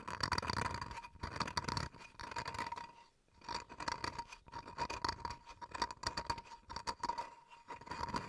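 Fingernails scratch across the wood grain of a small, flat, solid wooden cutting board held in both hands. Dense, gritty bursts of scraping come in quick strokes, with a brief lull around the three-second mark, over a faint steady tone and bright high hiss.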